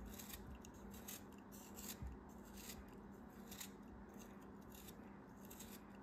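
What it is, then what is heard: Kinetic sand cube being sliced. A craft knife slices pieces off a small, solid, hand-held purple kinetic sand cube. Soft, crisp cutting and crumbling sounds repeat in quick bursts of bright hiss over a low, steady background hum.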